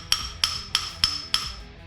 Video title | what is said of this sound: How to Remove Distortion in Sheet Metal after Welding | when it's doing that Hollow sound it's not hammer on Dolly yet it's not stretching that weld back out